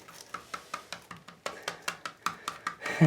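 A tiled shower wall or curb built over foam board is knocked about 16 times in a quick, steady series. Each knock is a short, dull, hollow thud that fades almost at once. The hollow sound is normal for tile over foam board.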